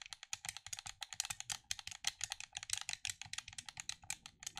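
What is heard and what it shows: Fingers rapidly click and tap the buttons of a black plastic gamepad held at chest level. About 34 short, dry, bright plastic clicks come in a quick, uneven stream, each ending instantly with almost no low end.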